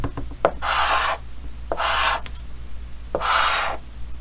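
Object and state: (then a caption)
Chalk drawn on a chalkboard. Yellow chalk held in the fingers draws repeated short scratching strokes across a large, solid, flat painted chalkboard with a green frame. Three longer, bright, raspy strokes are each preceded by quick light taps of the chalk. A steady low hum runs underneath.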